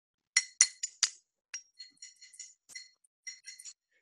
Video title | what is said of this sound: Hands-On History @ Home - Campfire Stories: The Legend of the Mountain Men | listen to it kinda sounds like glass right